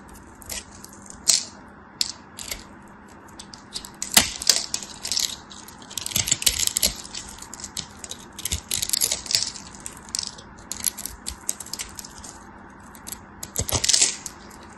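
A craft blade cuts through the scored grid on the remaining piece of a hand-held solid green soap bar, making the cubes crumble off. Crisp, bright crackles and dry crunching ticks come in clustered bursts with short, quick-fading snaps between them, over a faint low hum.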